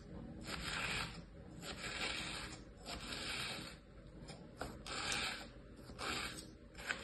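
Fingers with long painted nails drag a small thin tool through a flat layer of damp-looking kinetic sand with stamped shapes, sitting in a mint-green plastic tray. The result is a soft, bright scratching and scraping hiss that swells and fades with each repeated stroke.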